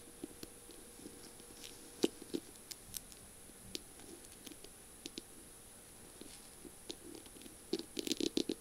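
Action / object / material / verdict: tap / feather pen with beaded, mirror-tiled barrel / beads, glass / none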